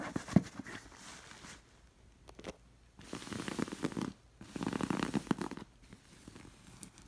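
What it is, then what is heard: Stuffed cotton pillow with stitched appliqué, scratched. Long nails scratch and trace across a stuffed cream cotton pillow with a stitched red fabric elephant appliqué, following the appliqué and its stitching. Bursts of dry, rasping fabric scratching come and go, separated by brief quiet gaps.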